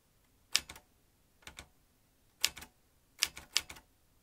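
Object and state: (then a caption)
Metal typewriter. Fingertips type on the keys of a vintage metal manual typewriter, its metal typebars and ribbon spool in view. Five quick clusters of crisp, bright clacks come at uneven intervals, each dying almost instantly, with near silence between them.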